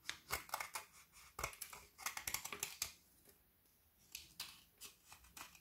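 A frozen white chocolate bar studded with colored candy dragees is held in the hands and shaved and scraped with a kitchen knife, the flakes falling onto the shavings below. A rapid run of crisp, bright scraping crunches comes in short bursts, pauses briefly near the middle, then resumes with softer scrapes.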